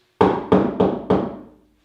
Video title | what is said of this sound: Frederica Street Railway - 3 Baseboards | it's a great sounding board and i don't really want to listen to all the noise in the rumble